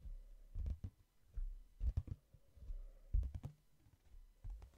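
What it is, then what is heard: Hardcover book tapped. Fingertips tap on the cover and page edges of a hardcover book, shifting from slow to fast. Quiet, dull low thuds arrive in short irregular clusters, with brief clicky touches and almost no ring between them.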